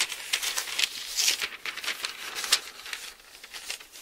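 Both hands flip several thin paper pages of an open Bible, then a palm presses and rubs a page flat. A quick series of bright, papery crinkles and rustles plays with almost no low end, fading softer toward the end.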